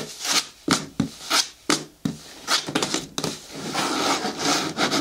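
Long nails scratch and rub along the side edges of a hollow, hard green plastic bin with a lid. Several distinct bright, rasping strokes come first, then the scratching turns denser and more continuous, with a dry, hollow plastic tone and little ring.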